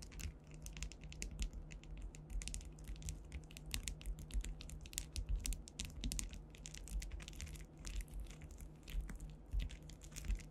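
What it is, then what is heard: Rhinestone-covered panel. Long white nails scratch and tap across a solid, flat panel densely covered with faceted clear rhinestones, likely acrylic, as the hands move over the gems. The result is a dense, continuous stream of quick, bright clicks and scratchy ticks that die away almost instantly, over a steady low hum.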